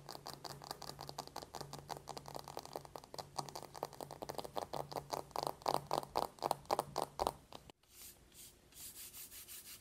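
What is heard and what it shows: Long painted nails tap fast on the closed, dark matte paperboard lid of a small, flat, hollow cardboard eyeshadow palette lying on a white table, making a rapid stream of dry, hollow clicks that grow louder and sharper toward the middle. After a brief silence, the palette is opened to show the clear window over the pans, and softer, more even taps follow.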